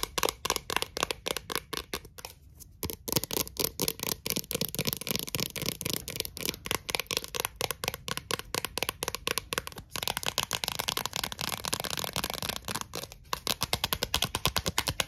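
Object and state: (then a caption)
Thin plastic lid tapped with nails. Long acrylic nails rapidly tap and scratch a thin, clear, round plastic Pringles lid held in the palm. The result is a dense stream of short, bright, clicky taps with crisp scratching between them and almost no ring, centered around 2.9 kHz.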